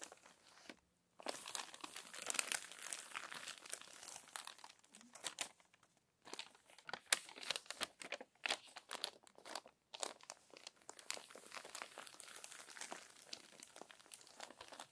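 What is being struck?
Glossy paper magazine pages.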